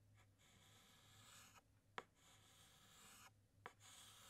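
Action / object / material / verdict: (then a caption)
scrape / chalk stick on a chalkboard / chalk / none. A white chalk stick makes hatching strokes inside letters on a large, flat black chalkboard. A steady, bright, scratchy rasp runs through the clip with short pauses as the chalk lifts, and sharp taps mark where it strikes the board again. A faint low hum continues underneath.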